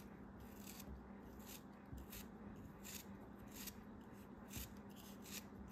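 A metal knife blade slices through and scrapes the surface of a solid, hand-held purple kinetic sand block. Soft, gritty scraping and crumbling comes in repeated bright, hissy bursts over a steady low background hum.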